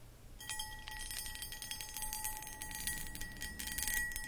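Long acrylic nails scratch and tap across the textured cut pattern of a medium, hollow, empty cut crystal glass pedestal bowl. Dense, bright scratching rasps and clicks run almost continuously. Beneath them, the glass holds a steady ringing tone near 1.9 kHz and a fainter one around 850 Hz.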